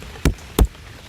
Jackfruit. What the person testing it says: এই আওয়াজটা হলো ধ্যাপ ধ্যাপে, অর্থাৎ এই দুটো পাকা।